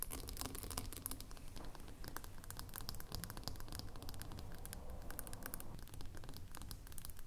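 Long nails rapidly tap and scratch the flat glass bottom of a small, filled glass lotion jar lying on its side. The sound is a dense, steady stream of crisp, bright clicks mixed with scratchy, crinkling strokes over a quiet low rumble. Each tap dies out almost instantly.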